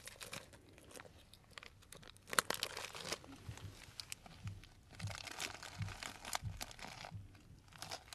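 A clear cellophane bag full of dried brown tea or fruit pieces is squeezed and crinkled with fingertips close up. Soft, bright crackling and crunching come in uneven bursts, with a sharper crackle around the middle, over a quiet, hushed background.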